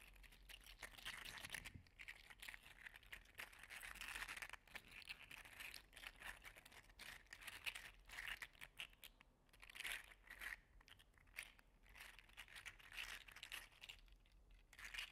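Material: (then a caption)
Plastic. An orange and gold segmented 3D-printed PLA articulated slug toy is held between two hands and repeatedly pushed together and pulled apart. Its segments produce dense, rapid, bright clicking and crinkly rattling throughout, swelling and easing in bursts with almost no low end.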